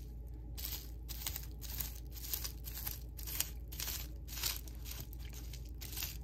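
Fingertips press down on a flat sheet of small-bubble clear plastic bubble wrap lying on a table, popping the bubbles in a string of quick, bright crackling bursts. The snaps are short and dry over a steady low hum underneath.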